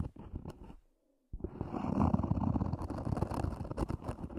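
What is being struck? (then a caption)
EVA hard-shell earphone case. Long nails scratch the lid of a small, hollow, black zippered EVA hard-shell earphone case, making a dry, low, rumbling scrape. A short burst of scratching stops for a brief silence, then resumes as dense, continuous rasping to the end.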